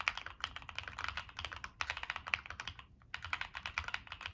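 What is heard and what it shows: Fingertips type quickly on a Monsgeek M1 mechanical keyboard with NK Cream switches, a dark metal case and purple and black plastic keycaps. The keys give short, bright clacks with almost no low end and very little ring, in a steady stream with one brief pause near the three-second mark before the typing resumes.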